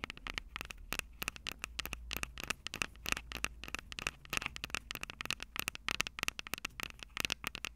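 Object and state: Nails tapping recorder mic capsules.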